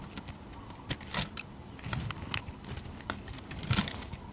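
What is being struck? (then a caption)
Glycerin soap bar cut with a knife blade. A utility knife blade shaves flaky curls off a solid, hand-sized bar of dark red translucent glycerin-type soap. The result is a run of soft, crisp scraping and crackling strokes with bright, airy edges over a faint low rumble.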